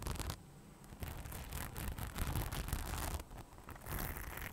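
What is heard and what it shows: Long nails scratch across the rhinestone-covered front panel of a hollow beige faux leather bag. The result is a dense, continuous rasping and clicking with a low hollow rumble underneath. It drops briefly quiet near the start and again past the three-second mark.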